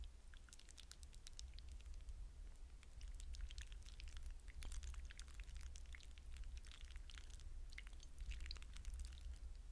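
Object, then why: Wet hydrogel water beads in a glass bowl. Fingertips stir and rub wet blue hydrogel water beads in a glass bowl. Dense, quiet, bright squishy clicks and crackles patter continuously over a steady low rumble.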